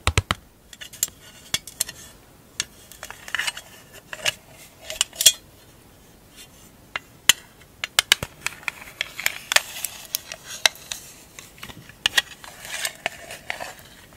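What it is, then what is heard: Small metal tin, tapped and scratched. Long acrylic nails tap and scratch the lid, back and edges of a small, hollow, rectangular printed metal tin labeled "160 Marbles." Sharp, bright clicks with almost no ring are scattered among scratchy, rasping strokes, with a brief quiet stretch partway through.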